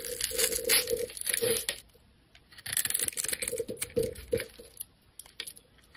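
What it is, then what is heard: Bar of soap being carved. A metal blade scrapes cubes off a solid, rectangular neon green soap bar that has been pre-scored into a grid. Dense, bright scraping and crackling bursts are heard with a steady ringing tone near 465 Hz. The bursts come in two active stretches separated by a brief lull, then trail off into scattered ticks.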